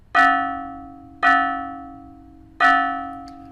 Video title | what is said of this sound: Modal Driving Point Survey | そして、この角まで行くと、さらに極端になります。今度は、励起されているすべての周波数が聞こえます。